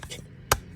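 A hub centric ring (HR 106.25, 78.1 inside diameter) is pressed into the center bore of a new wheel for a Ram, tire off, and tapped around all its sides. A few light, dull taps are followed by one sharp, louder tap with almost no ring. The taps sound the same everywhere, showing the ring went in straight and is evenly seated and good to go.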